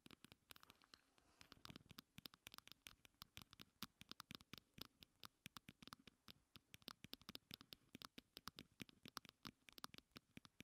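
Fingers with long nails tap and scratch all around a small, closed pink plastic heart-shaped compact. The result is a rapid, irregular stream of sharp, bright clicks and scratchy taps, each dying away almost instantly and stopping short with no ring.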